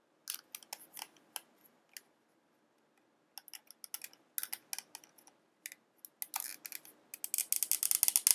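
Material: Plastic.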